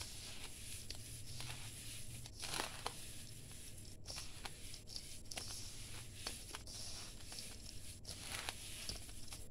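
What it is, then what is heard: Damp sand-cement mix being crumbled by hand. Bare hands squeeze, crumble and rub a crumbly grey damp sand-cement mix in a large steel bowl. The result is a steady, gritty crunching and rustling with bright, sharp crackles over a low background rumble.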